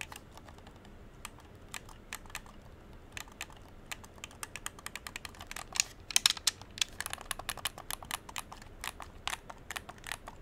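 A hollow dark blue plastic game controller is held in both hands while thumbs and fingertips click its buttons and sticks. Rapid, irregular series of short, sharp, bright plastic clicks with almost no ring, growing denser and louder in a flurry near the middle before settling back to steady tapping.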